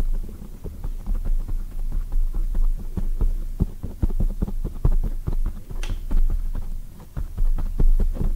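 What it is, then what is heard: Foam microphone windscreen. A black oval foam microphone cover is tapped rapidly with long white acrylic nails from both hands. The taps come through as soft, muffled, deep thumps that blur into a low throbbing hum, with one brief brighter tick partway through.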